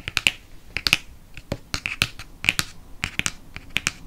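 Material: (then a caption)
Cardboard. Long nails tap quickly on the glossy cardboard front cover of a dark hardcover paper book with a hippogriff on the cover. About eighteen sharp, dry clicks come in an uneven rapid patter, bright and crisp with a peak near 2.5 kHz, very little low end and no ring after each tap. A faint hiss sits between the taps.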